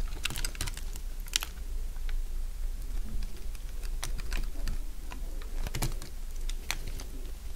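A solid, dry beige soap block held in the hand is sliced and shaved into strips with a metal utility blade. Crisp, dry crunching clicks come in quick, irregular bursts, each short and bright, over a steady low hum.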